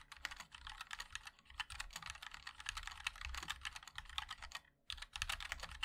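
A compact 60% mechanical keyboard with a black case, white and black plastic keycaps and linear switches is typed on continuously with the fingertips of both hands. A rapid, steady stream of short, bright clacky taps, with a brief pause near the end before the typing resumes.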